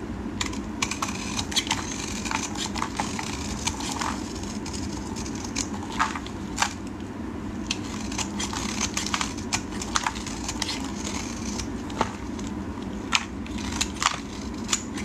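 A solid yellow bar of soap, held in hands wearing pink finger cots, is shaved and cut with a metal blade into dry crumbs. Dozens of short, crisp crackling snaps and bright scraping clicks sound over a steady low hum.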